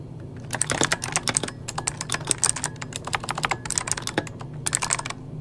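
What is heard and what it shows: Fingertips of both hands type quickly on a full-size backlit mechanical computer keyboard with plastic keycaps. The result is a rapid run of sharp, bright plastic key clicks in short bursts with brief pauses, over a faint steady low hum.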